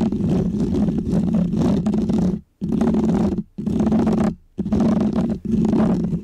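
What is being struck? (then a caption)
Foam microphone windscreen. Painted fingernails of both hands scratch a small, round, white textured foam windscreen on a microphone. The result is a dense, close, rumbling scratch with a strong low-mid body around 200 Hz and faint hiss above. It comes in five sustained bursts separated by brief silences.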